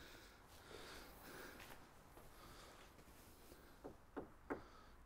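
A large, solid wooden piece in an abandoned garden centre is tapped three times. The taps are short, deep, muffled knocks with very little ring and no hollow resonance, over a low background. They mark the wood as solid and expensive, something likely sold for at least two or three hundred pounds.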